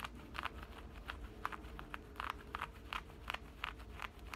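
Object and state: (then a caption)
Denim shorts pocket being scratched. Fingernails scratch and rub the opening and stitched seam of a side pocket on black denim shorts. A quick, uneven run of short, dry, bright scratches with a midrange rasp sits over a steady low rumble.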